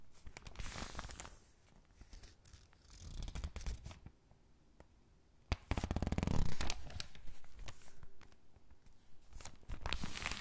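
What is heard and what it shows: Hands with long pink nails rub, squeeze and turn the pages of an open thin paper catalog resting on a dark surface. Soft, brushy rustling comes in uneven waves, broken by a sharp snap partway through and a louder burst of crinkling. Quieter scratching and page handling follow.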